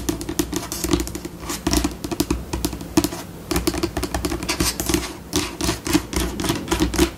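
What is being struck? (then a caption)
White laminate tabletop. Long pink acrylic nail tips tap rapidly with both hands on a flat, solid white glossy tabletop, likely laminate. Quick, dry clicks come in dense bursts whose pace speeds up and slows down, with a hollow low-mid knock under each tap and brief scratchy scurrying between them. Each click dies away almost instantly.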